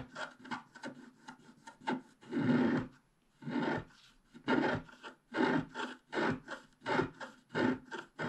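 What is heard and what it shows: A wooden stylus scrapes the black wax coating of a flat scratch-art card, over its colored base, in the upper sky area. A series of short, dry scratching strokes is heard, with a few longer rasping scrapes and brief pauses between them. The scraping sound is soft and papery, centered in the low-mids rather than bright.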